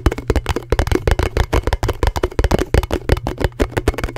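A round, thin, hollow blue plastic canister lid is held in both hands and tapped quickly with fingertips and nails close to the mic. About 23 rapid, irregular taps come through as dull, hollow, bass-heavy thuds with short clicky edges that die away almost instantly, over a faint steady low hum.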